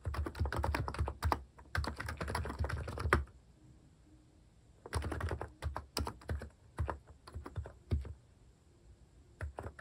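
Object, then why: Plastic keycaps on a capacitive keyboard. Fingertips type on a capacitive keyboard with plastic cat-themed keycaps, producing dense bursts of soft, deep thocking keystrokes. The typing comes in quick runs separated by pauses, with a faint high hiss in the background.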